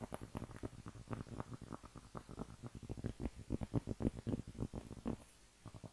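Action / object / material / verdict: tap / thin round cork trivet / cork / none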